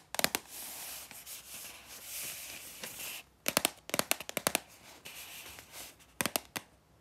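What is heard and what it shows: Hands with long red nails handle a red cylindrical Snack Day paprika chips canister (100 g) made of composite cardboard with a paper label, apparently full and sealed with a perforated tear strip near the top, tapping it, turning it over and possibly tearing the strip. Quick clusters of sharp, bright taps and clicks alternate with a soft, hissy crinkling and scraping between them.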